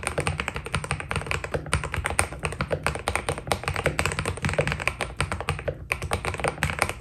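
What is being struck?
Mechanical keyboard with plastic keycaps.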